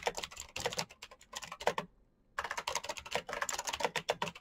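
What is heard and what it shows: Fingertips type quickly on a full-size black plastic Razer mechanical keyboard with clicky green switches and RGB backlight. Sharp, bright clicks come in rapid bursts, with a brief pause near the middle before the fast typing resumes. Each keystroke is short and dry with almost no low end.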